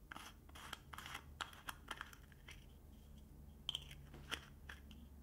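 Fingernails scratch and tap the ridged edge of a small, hollow, round aluminum lip balm tin with a green label on its lid, and twist the lid. The result is a quiet run of crisp, crunchy scratches and sharp clicks with a bright metallic tick around 3.2 kHz, over a low steady hum.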